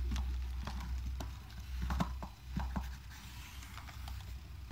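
A hand rubs a blue cloth over the upper keys of a gold aluminium laptop keyboard, pressing and wiping the keys. Irregular clicky taps and soft rubbing are heard over a steady low rumble.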